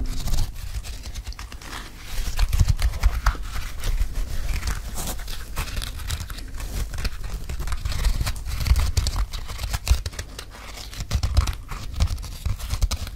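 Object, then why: Mesh and rubber sneaker. A single empty red Nike running shoe with a mesh upper, rubber sole, black laces and a green insole is held up while fingertips scratch and tap along its sole and upper. The taps sound as dense, dry, muffled thumps with a low body, over a soft crinkling scratch, and none of them ring on.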